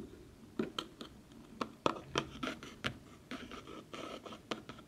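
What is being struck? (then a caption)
Cardboard box. Fingernails tap and scratch the lid and side of a large, dark, closed cardboard game collector's box with a distressed print. Sharp, dry taps sound hollow and stand out against softer scraping in between, each one dying away almost at once.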